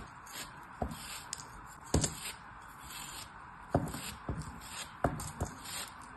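A metal craft knife blade slices and scrapes pieces off the remaining solid chunk of a molded kinetic sand turtle held in the fingers. Soft, gritty scraping runs under several sharp, dull crunching cuts that stop quickly with no ring, over a quiet background hiss.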